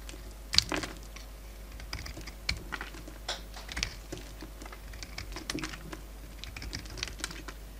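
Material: Soap.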